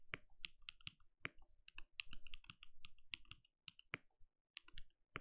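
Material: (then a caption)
Plastic. A compact RGB-lit mechanical keyboard with a translucent plastic case and plastic keycaps sits on a desk and is typed on steadily with the bare fingertips of both hands. Quick, short keystrokes come in irregular bursts, each a bright plastic clack over a soft low thud that stops almost instantly, with a few brief pauses between runs.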